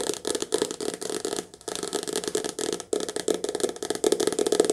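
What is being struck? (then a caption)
Softcover paperback book. A softcover paperback book, held in the hand, has its glossy cover and edge tapped quickly with long nails. The result is a fast, dense run of light, dry taps with a papery rattle, clustered into bursts with brief pauses between them.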